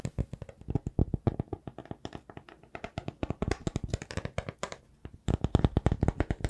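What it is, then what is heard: Wood log slice. A small, solid round slice of raw wood showing its tree rings is held in both hands and tapped and scratched with fingertips and nails. A rapid run of dozens of dull, low, dry knocks with almost no ring is heard, with soft scratching between them. After a brief lull near the five-second mark, the taps return louder and denser.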